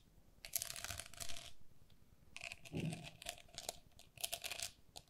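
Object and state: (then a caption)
Hollow plastic lattice pen cup. Long nails tap and scratch the walls of a hollow, empty, pink perforated plastic lattice pen cup held in both hands. Bright, crackly scratching comes in three bursts, with quick dry taps and a short low thud in the middle, each sound dying away almost instantly.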